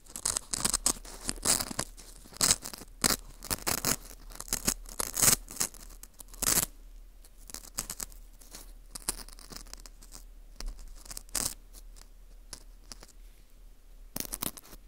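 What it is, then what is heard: Dried wheat gluten ring (fu) scraped. A metal hook pick scrapes inside the hole of a dry, porous dried wheat gluten ring (fu) held in a gloved hand, then along its top edge. Dry, crisp, bright scratching comes in short bursts with quiet gaps between, with almost no ring after each stroke.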